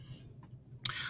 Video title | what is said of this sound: KCE: Mr. Isaac Music Lessons - String Family Pt. 4 | you can bang on it and you can hear that it's solid